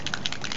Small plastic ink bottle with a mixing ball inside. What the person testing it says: you know that it's mixed really well once you hear that ball shaking it around